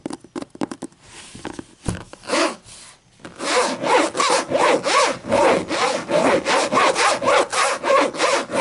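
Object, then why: Hardcover book, cloth-covered board. A large, thick, closed hardcover book with a black textured cloth-like cover over board lies on a table and is scratched and tapped with long matte green and black fingernails. The clip opens with a run of quick, sharp taps, then settles into steady, rhythmic back-and-forth scratching with a bright, raspy texture.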